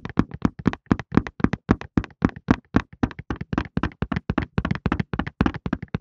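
A cardboard Softlan tissue box with tissues inside, held in both hands, is tapped with the fingertips in a quick, uneven rhythm. About 38 short, dull, papery thuds are heard over six seconds, each centered low around 230 Hz and dying away almost at once, with very little brightness.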